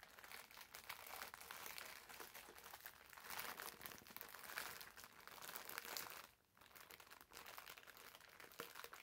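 A green foam bath sponge wrapped in clear plastic film is held and squeezed while fingertips crinkle the wrapper. The result is a dense, continuous, bright crinkling and crackling with almost no low end, briefly dropping quiet about two-thirds of the way through before resuming.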